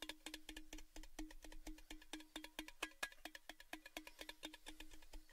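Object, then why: Thin sheet-metal cylindrical gift tin. Fingertips tap rhythmically on the sides of a tall, orange, cylindrical Baileys gift tin that is hollow and apparently empty, held up with its open end facing down. Around 39 quick, short-ringing taps follow each other in an uneven rhythm. Each gives a dry, hollow knock with a steady low tone and bright metallic ticks on top.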